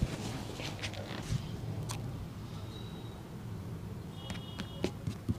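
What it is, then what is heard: Leather boot being brushed. A brown leather boot is brushed with a bristle shoe brush and rubbed with the fingers during polishing. Soft, bright brushing strokes and short squeaky tones ride over a steady low rumble, with a few sharp taps near the end.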